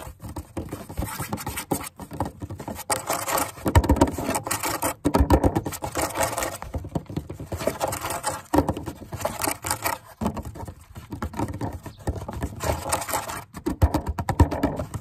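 Fingertips tap quickly and irregularly on the edge of a solid, grey, weathered wooden bench or table plank outdoors. The result is a dense, uneven patter of short, dull, low knocks with light scraping, which die away almost instantly and carry little brightness.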